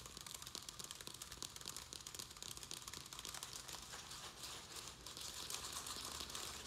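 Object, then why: Plastic plant pot filled with soil. A round black plastic plant pot filled with soil and perlite is held in both hands while fingernails tap and scratch quickly along its sides. The result is a steady, quiet stream of dense, bright crinkly clicks and scrapes with little low end.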